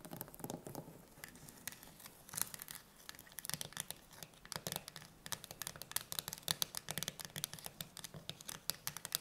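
Long nails tap rapidly on the lid of a full steel tin can standing upright, and then both hands grip the can. Dozens of quick, bright, clicky taps come in uneven bursts, peaking around 3.5 kHz and dying away almost instantly. A soft, low scratchy rustle runs underneath.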